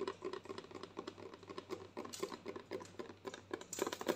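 Long nails tap rapidly and unevenly on a white plastic lotion bottle with a green cap, held up close. The quick, dry clicks have a hollow plastic tone and stop almost at once.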